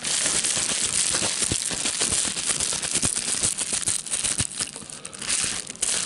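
A hand-sized sheet of clear plastic bubble wrap with air-filled bubbles, held in both hands, is crinkled and its bubbles popped with the fingertips. A dense, bright crinkling runs throughout, studded with sharp, short pops, with almost nothing in the low end. The crinkling eases a little near the end before picking up again.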